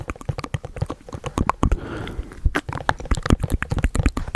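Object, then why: Printed cardboard box. A hollow white printed cardboard product box is held in the hands and handled close up, tapped with fingertips and nails. Quick, dull, low-heavy taps and clicks come in an uneven stream, broken midway by a brief smoother rubbing sound before the tapping resumes.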